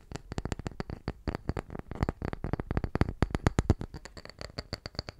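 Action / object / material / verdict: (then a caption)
tap / small round wood slice / wood / none. A small, round, solid wooden tree slice held up in both hands is tapped rapidly with the fingertips, about 35 quick taps over five seconds. Each tap is a short, dull, low knock that dies away almost at once, leaving faint bright clicks on top.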